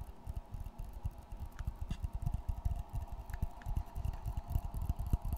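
Fingertips tap and scratch the dark brown textured face of a flat board held upright in a light wooden frame. The result is a rapid, irregular run of soft, dull, low thumps with very short decay, over a faint steady hum.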